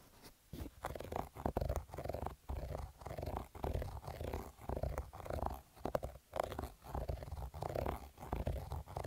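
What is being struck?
Cotton fabric cap with embroidery.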